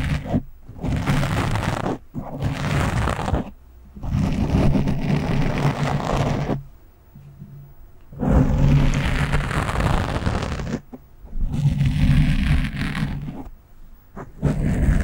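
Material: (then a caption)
Foam. A hand slowly scratches its nails over the top of a black foam windscreen on a microphone. Bursts of rough, rustling scratching with a heavy low rumble come in long sweeps, separated by brief quiet gaps.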